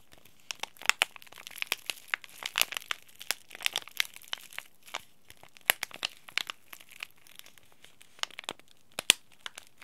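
A small, flat, green laminated plastic and foil tea bag sachet, sealed with the tea bag inside, is crinkled and rubbed between the fingertips of both hands. It makes a steady stream of crisp, bright crackles and rustles with sharp, short spikes and almost no low end, over a quiet background.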